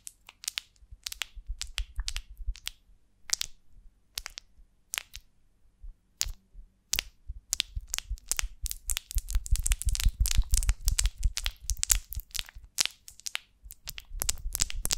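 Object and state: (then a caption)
Beeswax honeycomb. Long nails scratch and tap the wax cells of an upright golden beeswax honeycomb on a branch, held in both hands. Sparse, sharp crackling taps with a dull low thud give way after about seven seconds to a dense, rapid run of bright, dry crunching and scratching.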